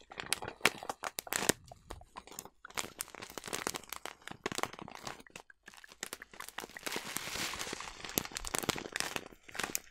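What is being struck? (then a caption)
Plastic bag of oats. A large, partly full yellow plastic bag of oats is crumpled and scratched with long nails. Dense, bright crinkling and sharp crunchy crackles come in bursts with brief pauses, then settle into a steadier scratchy rustle toward the end.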